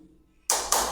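Another spot on a ceramic floor tile is tapped twice, giving two short, bright clicks with little low end and a brief ring around 900 Hz. This spot sounds solid, though a different part of the same tile is hollow underneath.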